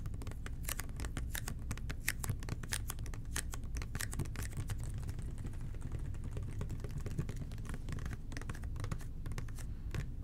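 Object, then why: Plastic toilet cleaner bottle. Fingertips tap and scratch the labeled sides of a red plastic toilet cleaner bottle in a steady run of quick, dry clicks. The soft scratching carries faint rustling between the taps over a low, constant hum.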